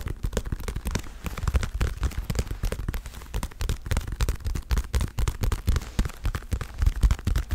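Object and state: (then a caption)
Leather boxing glove. A dark blue, padded, soft leather boxing glove is held near the mic and tapped in quick patters by long red-painted nails and fingertips. The taps come as a dense, irregular run of short, dull, low thumps with a faint brighter click on top and almost no ring.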